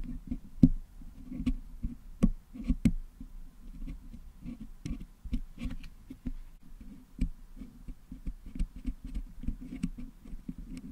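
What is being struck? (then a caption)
Metal mesh microphone grille filled with putty, picked with wooden toothpicks. Two wooden toothpicks pick and scratch at the metal mesh grille of a Blue Yeti microphone, close to the top, to clean out the colored putty filling it. Soft, dull low scratching and scraping runs throughout, broken by quick, dry clicks and taps that die away almost instantly.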